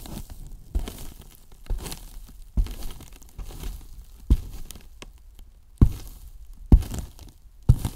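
The tips of two wooden brush handles tap and scratch the top surface of a large, white, hollow polyethylene foam box. Dull, low, hollow knocks land at irregular intervals, with soft, crinkly scraping and rubbing filling the gaps between them.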